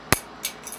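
A hard plastic ValaVerse Action Force Crimson Shadow toy weapon accessory is thrown forcefully onto a cement floor, landing with a sharp, bright clack and then clattering in two lighter bounces, three hits in all. Nothing breaks.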